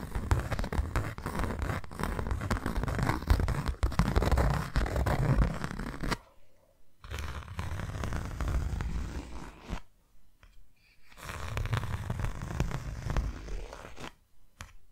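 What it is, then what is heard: Hollow cardboard box. Long nails tap, flick and scratch a closed, hollow, hand-sized white cardboard box in fast, uneven flurries. The sound is mostly low, hollow thumping with a dry scratchy edge, broken by a few short pauses.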